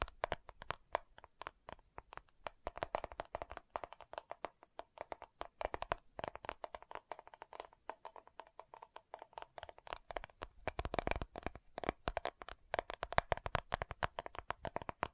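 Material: Plastic.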